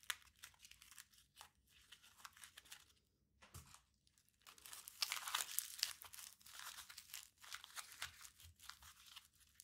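A small crumpled aluminium foil ball is rolled and squeezed between the fingertips of both hands, making dense, bright crinkling and crackling with many quick, irregular snaps. The sound is quiet at first, nearly stops for a moment, then swells into a louder, busier burst of crackles before settling back to softer crinkles.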